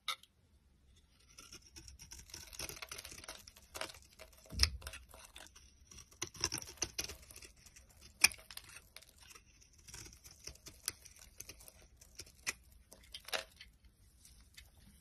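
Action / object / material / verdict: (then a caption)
scrape / bar of soap / soap / none. A box cutter blade shaves curls off a solid yellow MYRNA bar of dry soap held in the hand. Quiet, bright, crackly scraping and cutting continues at an irregular pace, with a few sharper, louder cuts standing out.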